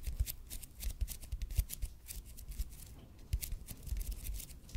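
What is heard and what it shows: Fingernails quickly scratch the surface of a red and white speckled expanded polypropylene foam roller held in both hands. Rapid, uneven bursts of bright, hissy scratching sit over soft, dull low thumps from the grip. The level rises and falls throughout and dips briefly before the scratching picks up again.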